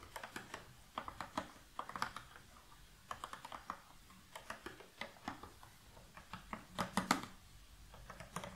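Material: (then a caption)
Cardboard. An open, medium-sized rectangular cardboard puzzle box full of loose cardboard jigsaw pieces is gripped at its sides by both hands with long nails and tapped and shaken. Quick, dry clicks and taps come in irregular bursts with short pauses between them, and the loose pieces rattle.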